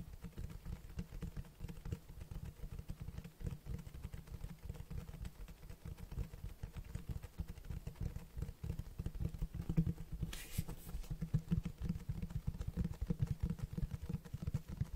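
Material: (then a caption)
Cloth, board. Fingertips tap and scratch the cloth-textured front cover of a large black Berserk Deluxe hardcover book, which feels solid. Quick, soft, low thuds pile into a steady, muffled drumming throughout, with a brief bright scratch standing out near the ten-second mark.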